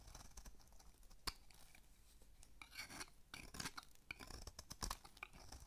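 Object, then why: Bar of soap shaved with a small metal blade. A small metal blade shaves thin curls from the face of a dry, solid, rounded rectangular pink bar of soap, about palm-sized and held in one hand. The sound is a quiet, dry, raspy scraping with bright crackles and sharp ticks, plus a few louder snaps as curls break away.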